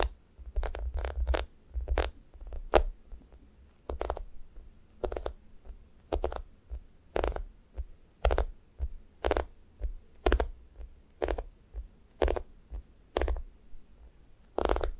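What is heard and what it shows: Long nails poke repeatedly into a thick, solid, sticky foam squishy toast, leaving dents, then pull back out of the sticky surface. Each poke makes a soft, low, muffled squish, followed by a short, bright, crackly tearing sound as the nails unstick. The pokes repeat steadily throughout, with quiet pauses between them.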